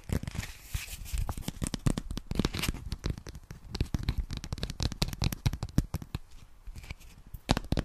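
A small white paper notepad with lined pages, a solid stack held in one hand, is tapped and scratched rapidly with long nails. Quick, dry taps with low papery thuds blend with crisp, bright scratching and crinkly rustles. The sound stays a steady, dense patter throughout with no ringing after each tap.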